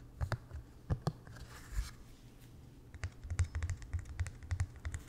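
A small white painter's canvas, stretched over a wooden frame and hollow behind the fabric, is tapped and scratched with fingertips and nails. Soft, dull, low thumps die away almost at once, with a brief scratchy hiss in the middle. The clip ends in a quicker run of light taps.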